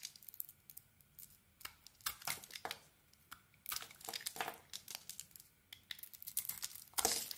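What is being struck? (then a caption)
Bar of soap scraped by a metal blade. A metal blade scrapes and shaves the dark green dotted coating off a solid white soap bar held in the hand. The result is a rapid series of short, dry, crisp scraping and crackling strokes, bright and high with almost no low end, in bursts that swell louder toward the end.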